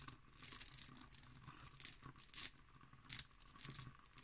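A textured cut glass decanter, empty with its stopper in, stands on a table while long nails tap and scratch across its bumpy glass. The sound is a quiet, bright run of rapid clicks and rasping scrapes, with sharper ticks standing out near 2.4 and 3.1 seconds.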